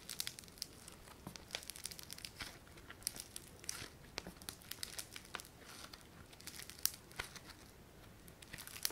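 A palm-sized, solid lump of yellow foam-bead clay (floam) is flattened, stretched and pressed with thumbs and fingertips. It gives off a steady, quiet stream of bright, dry crackling and crinkling, with many tiny sharp pops scattered throughout and little low end.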